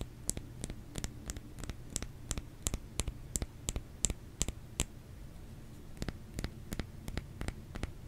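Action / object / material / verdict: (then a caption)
tap / bar of soap / soap / none. Fingers tap a solid bar of soap in a quick, uneven series of short, dry clicks with bright tops and no ring. The taps pause briefly near the middle, then resume over a steady low hum.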